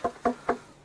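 Three knocks on a buried wooden structure with a mortise and tenon joint inside a cave. Each knock is short and dry with a mid-pitched tone and almost no ring. The sound shows the structure is wood, not rock.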